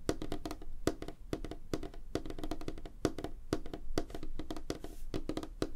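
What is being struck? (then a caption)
Wooden tabletop. Both hands tap rapidly with fingertips and short nails on a large, flat, solid light-wood tabletop. The result is a fast, uneven patter of dry, short knocks with a hollow, woody tone around 310 Hz. Each tap dies away almost instantly, with faint clicky ticks on top.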